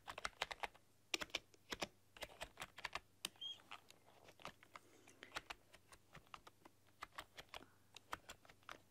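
Fingertips and long painted nails type rapidly across a full-size black plastic keyboard with rainbow LED backlighting. Around 33 short, bright plastic clicks and taps come in quick, uneven bursts, each dying away almost instantly against a quiet background.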